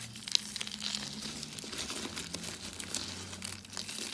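Pink and white brittle dry soap rolls are crushed and crumbled between the fingers into a pile of soap flakes. The result is a steady stream of bright, dry crackling and crinkling with quick, sharp snaps and almost no low end.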